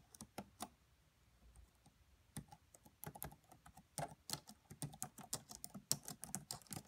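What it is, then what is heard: Plastic laptop keyboard being typed on. Long manicured nails and fingertips of both hands type slowly on the black plastic chiclet keys of a red laptop with a hollow body. Quiet, short, bright clicks and taps come at an irregular pace, sparse at first and then denser, each dying away almost instantly.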